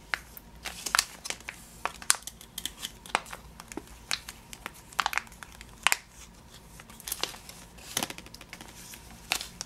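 Fingers squeeze and crinkle a full, clear plastic bag of yellow sugared almonds held in the hand. Sharp, bright plastic crackles come in irregular bursts over a quiet, steady background, each snap dying away almost instantly.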